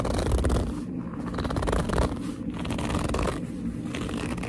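Long nails and fingertips grip and squeeze the top edge and front of a hollow black leather handbag. The result is a continuous, low-heavy rubbing and squeaking with a few brief dips rather than separate hits.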